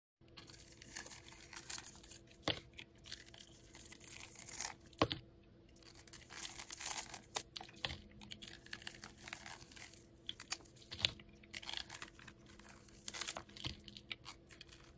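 A solid white bar of soap coated with pink glitter, held in the hand, is scraped and carved with a metal utility blade. Bursts of dry, bright, crinkly scraping come as shavings peel from its surface, broken by short pauses and a few sharper crunchy cuts.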